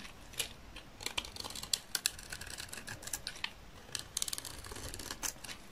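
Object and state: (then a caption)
Dry soap bar being shaved. A utility knife blade scrapes and shaves the surface of a hand-held, solid, dry green soap bar with a red edge, cutting it into curls. The result is a quick run of short, dry, crisp scraping clicks and crackles, bright and high with almost no ring, over a quiet background.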